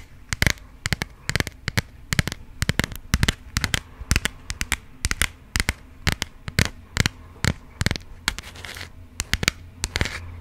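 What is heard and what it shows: Long acrylic nails tap and scratch a burgundy passport booklet with paper pages in a textured, plastic-coated cover. Sharp, crisp clicks and bright scratches come in quick, irregular bursts over a low, steady hum.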